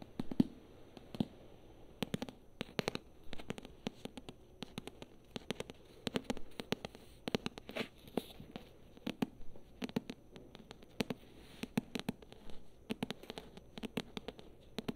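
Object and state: Paperback book, tapped and scratched.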